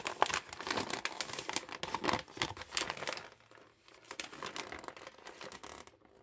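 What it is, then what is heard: Plastic mailing bag being crinkled. Green rubber-gloved fingers grip and crinkle a red thin-film plastic postal mailer bag with a parcel inside, crumpling and rubbing it. Dense, bright crackling crinkles fill the first three seconds, then ease into quieter, softer rustling and rubbing until the end.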